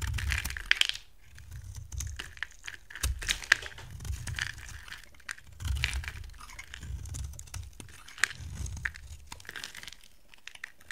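A utility knife blade carves a solid, hand-sized purple rectangular soap bar into dry flakes. Repeated dry, crumbly scraping strokes come in bursts with a low, dull body, bright crackly detail and occasional sharp clicks, separated by short quiet gaps.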